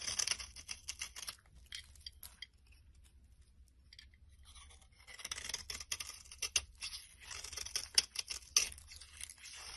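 A blade scrapes and carves the scored orange top layer off a solid brown soap bar held in the hand, making a bright, dry, crumbly crackle as shavings break away. Quick bursts of scraping come early, fade to near-silence for a few seconds, then return in louder, sharper strokes with crisp clicks until the end.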